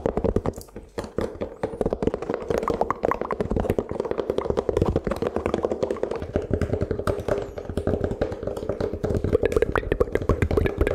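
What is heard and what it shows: A large, thin, round, brittle toasted rice cracker dotted with black sesame is held up in both hands in front of a microphone and tapped with the fingertips. Rapid, dense, irregular taps sound as crisp, hollow knocks with a mid-range tone and almost no ring, continuing steadily for the whole clip.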